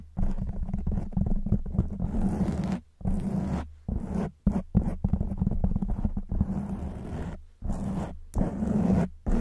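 Long white fingernails scratch a black foam windscreen on a silver microphone from both sides. The result is a dense, muffled rumbling scratch with a low hum near 190 Hz, broken by several brief silent pauses.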